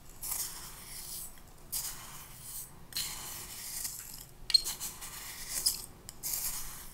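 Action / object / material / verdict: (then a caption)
scrape / glass cup with sand and a plastic spoon / sand, glass / none. A clear plastic spoon stirs and scrapes the grains in a small clear glass cup, about half full of pink sand or sugar, held in the hand. Soft, bright, gritty scraping comes in repeated sweeping bursts with brief pauses between them. A few sharp little ticks stand out where the spoon catches the glass.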